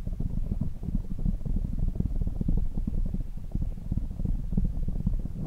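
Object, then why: Foam windscreen on a microphone. Fingertips of both hands rapidly tap and rub a black foam windscreen on a desk microphone. The result is a dense, continuous stream of deep, muffled thumps and soft scratchy rustling, almost entirely low in pitch with no high or bright content.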